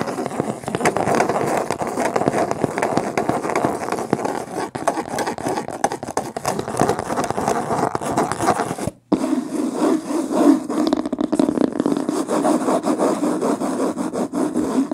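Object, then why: Hardcover book with linen cloth cover. Long painted fingernails rapidly scratch and tap the front of a medium hardcover book with a beige woven linen cloth cover, lying flat on a blanket. A dense, continuous, papery scraping fills the first nine seconds, then, after a brief silence, resumes with a lower, fuller texture around 270 Hz and quick, dry taps that die away almost at once.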